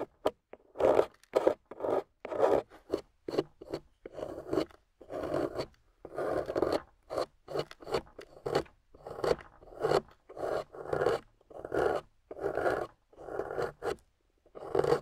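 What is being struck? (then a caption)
Clay block scraped with a metal loop tool. A small, solid, water-soaked clay block with a golden coating, held in a hand with long nails, is scraped and carved with a metal loop tool. A steady series of short, dry, raspy scraping strokes sits mostly in the mid range, with quick pauses between them. Clay shavings fall onto the table.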